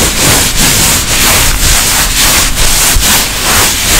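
Long nails rub and scratch along the tapestry-fabric surface and edges of a makeup pouch. The result is a steady, bright, hissing scratch in repeated strokes roughly every half second, with no distinct hits.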